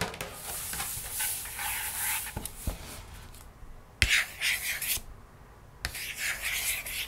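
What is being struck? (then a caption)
Glossy paperboard book pages. Long nails scratch and trace over the pink page of an open cardboard board book with thick, glossy paperboard pages lying on a table. Bright, dry scratching comes in bursts separated by short quiet gaps, with a few sharp taps cutting through.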